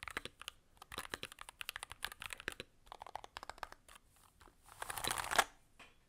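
Fast typing with gloved fingertips of both hands on a Varmilo Muse65, a 65% mechanical keyboard with a blue aluminum case, plastic keycaps and magnetic switches. Bursts of short, crisp, bright clicks with almost no low end tumble out in uneven runs, and a denser, louder cluster of clatter builds near the end before stopping.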